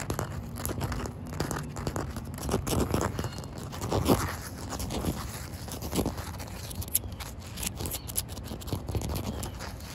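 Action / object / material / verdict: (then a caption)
scrape / concrete ground / concrete / none. Fingertips with short white nails scratch and tap a solid, damp outdoor concrete surface with small debris on it. Dense, gritty scraping and crackling runs throughout, with soft dull taps and a low rumbling bed. A louder tap stands out around four seconds.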